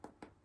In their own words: Just like a bread roll, you know when they're done when you tap the bottom and they sound hollow.